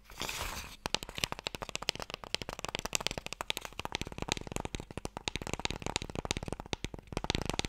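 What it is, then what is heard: Wooden Mikado box tapped with fingernails. Fingernails tap and scratch the top surface of a small, long, hollow wooden Mikado box held in the hands. A brief bright, rough scratch opens, followed by a rapid run of crisp, dry taps that stop instantly. The taps have a hollow knock around 875 Hz.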